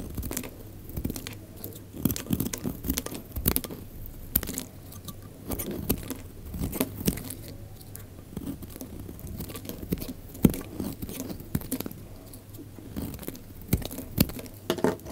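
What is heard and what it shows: A utility knife blade peels thin curls off the surface of a solid, faceted, pale pink bar of dry soap held in the hand. Dense, crisp scraping and crunchy shaving strokes follow one another quickly, each a short dry snap with a soft low body and a brief bright edge.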